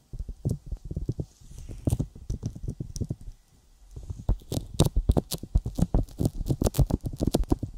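Fingertips tap repeatedly on a sticky silicone binaural microphone ear coated with petroleum jelly. The result is a rapid patter of short, dull, low thumps with faint bright clicks, easing into a brief near-silent pause before the taps resume stronger and denser.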